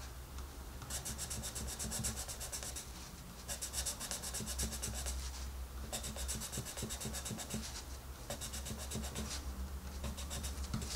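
A dark green wooden colored pencil makes rapid, short scratching strokes across the paper page of an open coloring book lying flat. The bright, papery scratching comes in several bursts separated by brief pauses, over a steady low hum.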